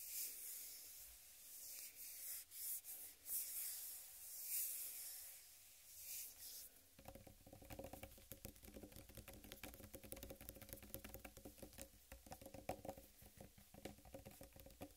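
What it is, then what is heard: Whole watermelon, scratched and rubbed. Long red acrylic nails scratch and rub the hard, striped green rind of a large, solid, full whole watermelon cradled in both hands. The first half is soft, airy swishing strokes that swell and fade. It then shifts to a dense, rapid, crackly scratching with a hollow mid-pitched resonance under it.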